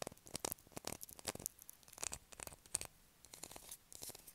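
Long acrylic nails scratch a solid blue bar of soap held in the hand. The result is a quick, uneven run of quiet, dry, bright scratches with no ring, pausing briefly near the three-second mark before resuming more softly.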